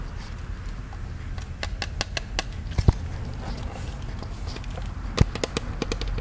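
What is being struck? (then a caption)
Hollow plastic popcorn bucket. A hollow plastic Disney ghost-shaped souvenir popcorn bucket, about head-sized, is held in both hands and tapped with the fingertips. Light, irregular taps come over a steady low hum, with brief dull clicks and two sharper knocks near 2.9 and 5.2 seconds.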